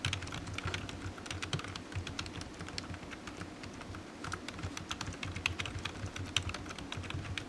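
Fingertips type steadily on a low-profile black plastic computer keyboard resting on a desk mat, its hollow keys giving quick, short tapping clicks with bright edges. The continuous run of taps sits over a low, dull thud around 100 Hz, with a few sharper keystrokes standing out.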